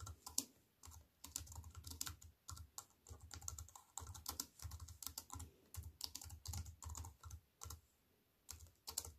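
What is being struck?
Slim aluminium-framed keyboard with plastic keys.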